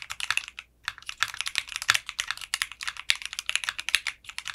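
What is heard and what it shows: Fingertips type on a mechanical keyboard with clear pink polycarbonate keycaps and a translucent case. A steady run of quick, bright clicks and clacks sounds, each one short and crisp, with a brief pause early on.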